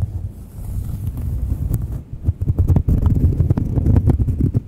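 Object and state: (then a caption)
Cork coaster scratched. Long nails scratch the textured face and edge of a thin, solid, palm-sized round cork coaster close to the mic. The sound is a dense, low, rumbling scrape with scattered short bright clicks, building louder and busier in the second half.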